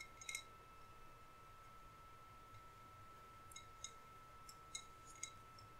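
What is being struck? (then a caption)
Decorated glass bottle. Fingernails tap a hollow green glass bottle that is lit from inside and decorated on its side. Short, bright glassy clinks come in a quick cluster near the start and then sparser single taps, each dying away almost at once. A faint steady tone and low rumble sit underneath.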